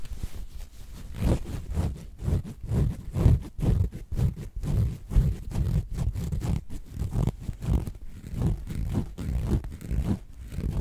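A medium square throw pillow with a cream cotton canvas cover printed with a black cat and a red heart, soft and stuffed, is held against the microphone and scratched and rubbed with long painted nails and fingertips. The result is a steady run of close, muffled scratching and rubbing strokes, deep and bassy with little brightness, pulsing irregularly about twice per second.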